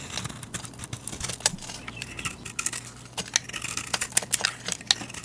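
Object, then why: Bar of soap. A utility knife blade shaves chalky flakes off a hand-sized, solid rectangular white bar of soap painted with a wave design, held in a hand with long dark nails. Many quick, bright, crisp scraping clicks come in an uneven run, with a faint low hum underneath.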